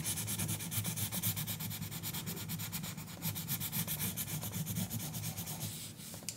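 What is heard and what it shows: A green colored pencil makes rapid, scratchy coloring strokes on the page of an open paper coloring book lying flat on a counter, while the left hand's long nails rest on the page. The strokes form a fast, steady rhythm of dry scraping with a low rumbling buzz and bright hiss, dipping slightly near the end before a final short scratch.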